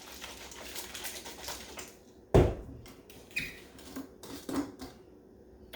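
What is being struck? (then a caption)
Plastic cup of lemonade with ice. A covered plastic cup of homemade lemon shake-up with ice is shaken to mix it. The ice gives a dense, rapid rattle for about two seconds, followed by one loud, sharp knock and a few softer clinks as the shaking settles.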